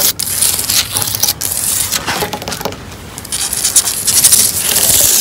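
Long orange acrylic nails scratch and tap in fast strokes along the solid brown wooden slats of an outdoor bench or deck. The result is a continuous, bright, dry rasping with quick tapping accents and little low end.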